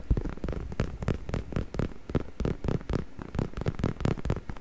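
Fingertips scratch and rub the surface of a soft, padded, black stuffed faux leather neck pillow held in front of the microphone. The result is a steady run of quick, muffled scratching strokes, deep and soft with little brightness, pulsing in close rhythmic bursts.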